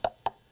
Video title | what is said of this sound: Mac Economy explains some pickup basics for electric guitars. | I can tap it, hear that, and then this one wouldn't make any sound, but the minute I flick the switch, there it is